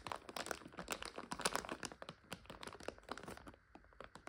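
A full plastic bag of dry egg noodles is scratched with long nails and squeezed by fingers. It gives dense, bright crinkling and crackling with many quick, sharp bursts. The crinkles are busiest early, then thin out and grow quieter toward the end.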